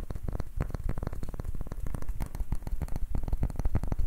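Fingertips and short nails tap and scratch rapidly over a palm-sized, round, light wooden ribbed ball with a grooved surface, held in both hands. The result is a dense, steady patter of short, dull, low-heavy knocks with brief bright clicks and no ringing.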